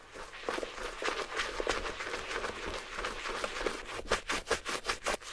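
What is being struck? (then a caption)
Small suede handbag scrubbed with a bristle brush and shampoo foam. A wooden-backed bristle brush held in the fingers scrubs back and forth across a small, hollow red suede Gucci mini handbag with bamboo handles, its surface covered in wet shampoo foam. Rapid, wet, bristly scrubbing strokes give a bright, hissing texture with a soft midrange rub, growing into sharper, distinct strokes toward the end.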